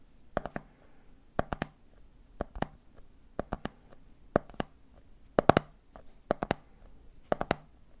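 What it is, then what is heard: Plastic jar of peanuts tapped. Fingertips tap the top of a red plastic lid on a medium clear plastic jar full of peanuts, then fingers tap the jar's side. The taps come in quick three-beat groups about once a second, each a short, dry click with a mid-pitched body around 700 Hz and no ring.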